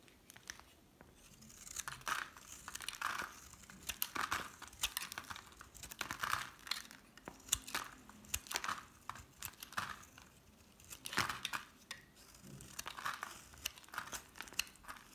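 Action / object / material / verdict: scrape / bar of soap cut with a metal blade / soap / none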